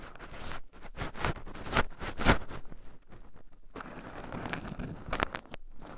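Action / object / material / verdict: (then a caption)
scrape / shelled pine nuts in a wooden bowl, stirred with wooden chopsticks / pine nuts / none. Two wooden chopsticks stir and poke through a small wooden bowl heaped full of shelled raw pine nuts, with two black microphones buried in the pile so the nuts also rub against them. Close, dry crunchy rustling and scratching fills the clip, with several sharper broadband clicks rising above a low, grainy churn.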